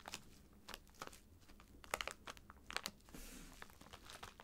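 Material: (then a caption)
Plastic. A filled white plastic poly mailer bag lies flat while both hands tap, scratch and rub it with fingertips and nails. Quiet, bright crinkles and sharp clicks come in scattered bursts, with a softer hissing rub partway through.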